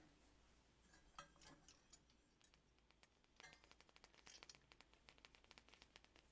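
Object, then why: Thin metal ship ornament. A thin metal pirate ship ornament that rocks is scratched and tapped, producing a quiet series of bright, short metallic clinks and scrapes with a ringing tone around 1.3 kHz. The light, rapid taps grow denser toward the end over a faint low background hum.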